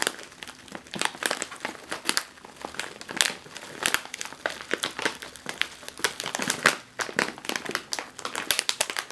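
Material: Metallized film.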